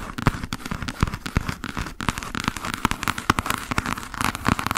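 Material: Cardboard.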